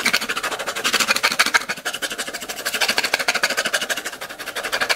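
Long glitter acrylic nails rapidly scratch and tap the white plastic screw lid of a small, clear, round plastic tub held in one hand, partly filled with pink and silver glitter. The result is a fast, dense stream of crisp, bright clicks and scratchy ticks with almost no low end. The rhythm is loosely irregular and the loudness pulses rise and fall throughout.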